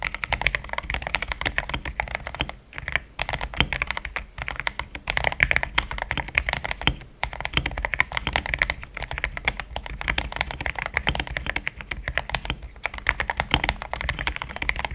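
Fingertips type continuously on a compact mechanical keyboard with a plastic case and plastic keycaps, producing a dense stream of quick, bright key clacks with a soft low thock under each press. The taps die away almost instantly, and the rhythm breaks only for a few brief pauses before resuming.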